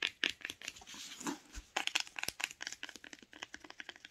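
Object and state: Cloth hardcover book spine.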